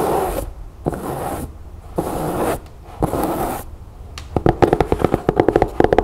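Long nails scratch and then tap the sides of an empty rectangular fabric storage bin with a chevron print, made of cloth over a stiff board frame and held in both hands. Four separate bright, hissy scratching strokes are followed by a quick run of sharp, dull, low-mid taps with little ring.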